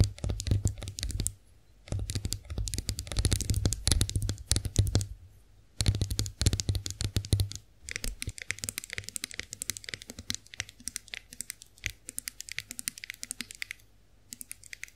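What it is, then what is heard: Chrome face roller tapped with nails. Long acrylic nails tap and scratch the ridged rollers of a hand-held chrome-finished face roller with two ridged roller heads and a handle. Rapid bright clicks and scratchy taps come in bursts with short pauses between them. A low hum sits under the louder first half, and the tapping turns lighter and more scattered later on.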